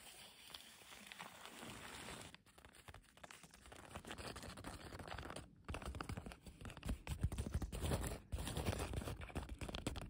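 A flat hand and long nails rub and scratch the surface and frayed edge of a thin, crinkly blue woven polyethylene tarp. Dense, irregular crinkling and scraping rustles run throughout, with short pauses. The sound builds to louder, fuller rubbing in the second half.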